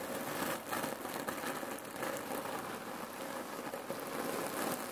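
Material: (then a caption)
Cherry pits. Hands squeeze a full red cotton neck pillow filled with cherry pits, then long nails scratch and tap its fabric. The pits shift with a steady, dense crunching rattle, like light rain, that stays at a fairly even level throughout and sits mostly in the mids, with little bass.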